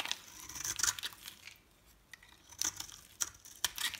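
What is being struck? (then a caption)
Bar of soap scraped with a metal knife. A metal knife blade scrapes and scores a solid rectangular bar of dry green soap held in hand, leaving shavings on the table. Crisp, bright, crackly scraping bursts come in short strokes with a quiet pause in the middle. There is almost no low end and the strokes stop without ringing.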